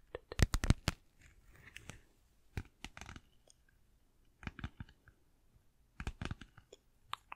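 Long nails tap and scratch a small, flat, apparently empty pink glossy vinyl zippered pouch with a flamingo print. The result is bursts of sharp, crisp clicks and brief crinkly scratches, separated by short quiet pauses. Each tap is dry and dies away at once.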